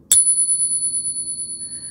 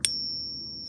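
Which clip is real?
The first.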